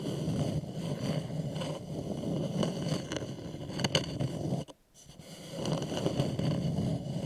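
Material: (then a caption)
Wood. Short nails and fingertips scratch and tap the sides near the foot rim of a small, polished, hollow wooden bowl turned upside down. The result is a dense, low, rustling scrape with a few brighter tap accents. It stops briefly just before the five-second mark, then resumes steadily.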